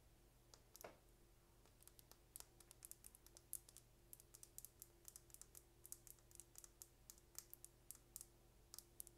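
A small, slim, hollow purple plastic lip gloss tube with a gold and blue cap is held in the hand and tapped with long painted nails. The result is a steady run of quick, light, bright clicks that stop dead, each one short and dry. They sit over a quiet, constant low hum.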